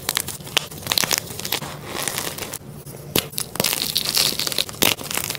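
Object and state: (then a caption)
Magnesium carbonate gym chalk block being crumbled. A flat white magnesium carbonate gym chalk block, solid and dry, with chalk chunks and powder, is crushed, crumbled and rubbed in bare hands and fingertips. Bright, dry crunching and gritty crackling fill the clip, with many sharp snaps over a continuous rustle, little low end and a brief quieter stretch midway.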